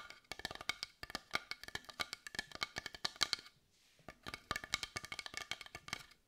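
Long white almond-shaped nails tap rapidly and scratch across a large carved wooden heart of dark brown, visibly grained wood held in both hands. Bursts of bright, dry, hollow clicks with almost no ring are broken by a brief soft scratching pause in the middle before the quick tapping resumes.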